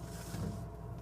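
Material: Nothing is struck.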